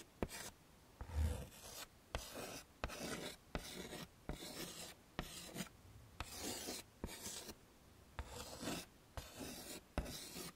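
A hand draws curly hair with white chalk on a flat, dark chalkboard set in a wooden frame. About twelve short scraping strokes sound one after another, each starting with a sharp tap and trailing into a brief, bright rasp, with quiet gaps between them.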